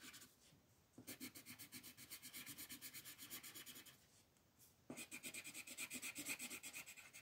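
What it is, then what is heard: Colored pencil on paper. A green colored pencil rubs and scratches back and forth across a flat white paper mandala sheet while coloring leaves. Fast, bright, papery strokes come in two bursts separated by a short quiet pause, with the second burst louder.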